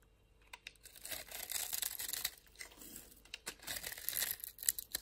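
A utility knife blade scrapes and carves across the surface of a small, solid pink-and-white striped bar of soap held in the palm. The result is quiet, bright, crackly shaving and crunching sounds that come in uneven bursts, with short scrapes between longer carving strokes.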